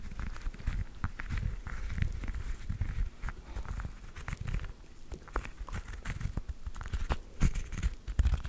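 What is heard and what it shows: A whole fresh orange, solid and held in both hands, has its peel scratched and tapped with long nails. The result is a dense run of soft, low, dull thuds mixed with faint scratchy crackles, each tap very short with almost no ring.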